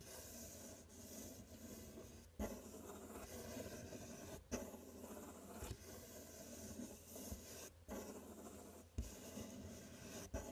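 Fingers scratch and rub the side and front edge of a large, empty, open corrugated cardboard box while the other hand holds the top flap. A steady, grainy scratching runs throughout, broken by several short, sharper knocks. The sound is quiet and mostly low-mid, with little high brightness.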